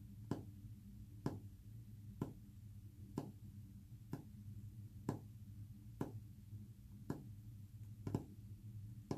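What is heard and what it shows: Short fingernails tap a flat, solid white-painted wooden panel about once a second, each tap a quick, dry click with almost no ring. A steady low hum continues underneath throughout.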